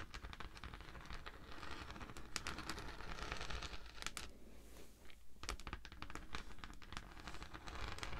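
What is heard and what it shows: A thin, flexible pink honeycomb-textured beeswax sheet is held flat and scratched with long manicured nails of both hands. The result is a dense, continuous crackly scratching with many short, sharp clicks over a low rumble, with a brief quieter lull partway through.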